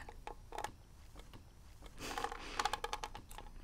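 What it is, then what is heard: Hollow plastic game cartridge. Fingernails tap and scratch the label area of a hollow plastic gold NES *Legend of Zelda* game cartridge held up close. Quiet, dry clicks with a hollow ring near 830 Hz give way to a brief, brighter scratching rasp around two seconds in. A quicker run of sharp taps follows.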